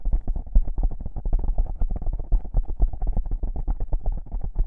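Long pink-painted nails rapidly scratch two small black foam windscreen covers on a binaural microphone. The result is a dense, muffled, low rumbling scratch with soft thumpy strokes coming about four per second in an uneven rhythm, with almost nothing in the highs.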